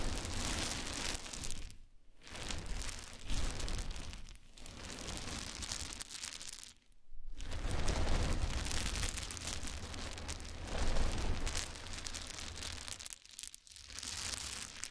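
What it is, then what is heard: Pile of small wooden cubes. A pile of many small solid wood cube chips is raked with the fingertips and nails of both hands. This makes a dense, continuous clattering and crunchy rustle with a deep low-end rumble and a bright top. The raking stops briefly near 2, 7 and 13.5 seconds before it starts again.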